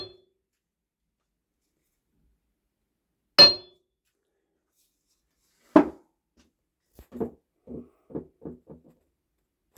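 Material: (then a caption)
Steel. A mounted steel anvil is struck with a hammer in a demonstration of good versus poor mounting: two sharp, bright metallic strikes, then a quicker run of lighter, lower clinks. Each hit dies away almost at once with little ring.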